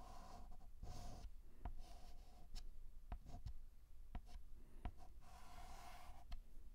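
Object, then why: Chalk stick on a slate chalkboard. A white chalk stick scratches across a black chalkboard in vertical strokes that form the letter H. Quiet, raspy scraping bursts alternate with short pauses, punctuated by sharp little taps as the chalk meets and leaves the board.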